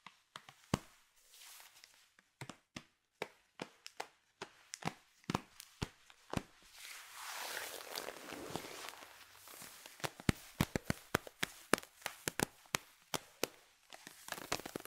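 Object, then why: Nylon fishnet tights. Long fingernails and fingertips scratch and rub black nylon fishnet tights on the thigh and knee. Dozens of short, crisp, bright scratches tick past, broken midway by a longer hissing rub before the quick scratching resumes.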